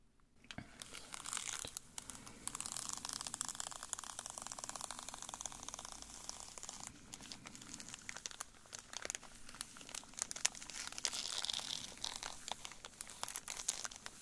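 A full foil candy bar wrapper resting on a table is squeezed and crinkled by latex-gloved fingers. It makes a dense, bright, crackling crinkle that runs almost continuously for about 14 seconds, with quick sharp snaps and little low end.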